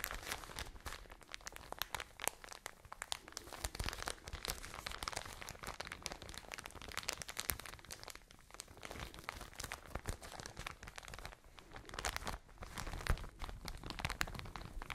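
A full, soft plastic package of cotton wool is squeezed and crinkled with long nails close to the microphone. The result is a steady, dense crackle of bright crinkles and soft crunches over a low rumble, with no pauses.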